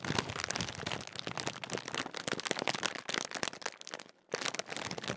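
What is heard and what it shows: Fingertips crinkle and scratch the metallised plastic film of a large Walkers crisp bag that appears sealed and full. Dense, bright crackling and rustling runs almost continuously, drops to near silence for a moment, then resumes just as crisp.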